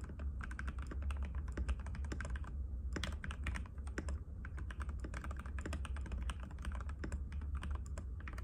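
Both hands type rapidly and continuously on a compact cream-white mechanical keyboard with plastic keycaps and a hollow case, resting on a glass table. The keys make a dense stream of short, sharp clicks and clacks with bright edges and almost no ring. A steady low hum sits underneath throughout.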